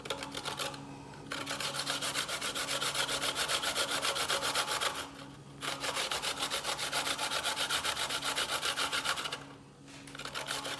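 A solid white piece of fresh coconut meat, gripped in the fingers, is rubbed rapidly on a steel box grater, with the shreds piling up on a bamboo board. The fast, even strokes make a bright, scratchy rasping in three long runs, separated by two brief pauses, over a faint steady low hum.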